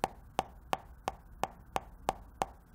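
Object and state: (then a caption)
Hollow, plastic-sounding phone screen. Fingertip taps on the glass screen of a new iPhone 11 Pro Max, eight evenly spaced sharp clicks that die away almost instantly. Each tap has a hollow, plastic-like tone centered around 770 Hz with little low end. The screen was judged genuine after a coworker's identical phone sounded the same.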